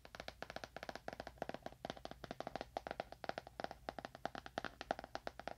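A solid, dark leather-bound book held upright is tapped quickly with the fingernails of one hand near a binaural microphone. About 38 sharp, dry, mid-pitched taps come in quick bursts, each dying away almost instantly with no ring.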